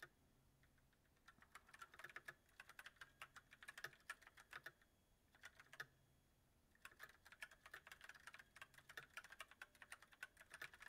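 Fingertips of both hands type continuously on a backlit mechanical keyboard with white plastic keycaps on a silver metal frame. The result is quick bursts of crisp, bright clacks with a tone near 1.7 kHz that die away almost at once. Brief quiet pauses fall at the start, around five seconds and just before seven seconds.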